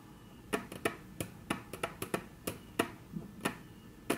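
Very long natural nail tips tap on a flat, solid, dark brown wood-grain tabletop. Thirteen short, dry, bright clicks come at an uneven pace, each dying away almost instantly over a faint, steady background hiss.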